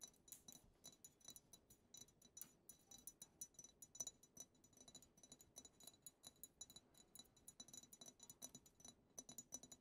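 A medium frosted glass perfume bottle labeled "the bianco" is tapped on its side with long acrylic nails. Rapid, quiet, bright clicking taps follow one another in a steady stream, each dying away almost at once with a faint high glassy ping.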